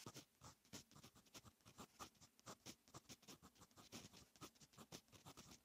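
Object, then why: Metal pen nib on lined notebook paper. A fine metal fountain pen nib writes on a lined paper notebook page, making a steady run of short, bright scratching strokes. Each quick stroke rises and fades with little ring, and the strokes come close together in a continuous scratchy rhythm.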